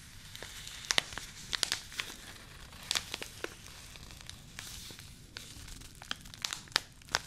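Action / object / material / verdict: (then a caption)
scrape / thin paper tea bag sachet / paper / none. Long nails crinkle and scratch a small, flat, thin white Yogi Tea paper sachet held close. Bright, crisp paper crackles and sharp clicks snap out over a steady papery hiss, with almost no low end and no ring after each snap.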